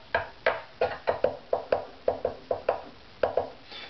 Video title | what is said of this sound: Saddle Acoustical Tuning (Tap Tone), Opus #15 Violin | this side's actually lower than that side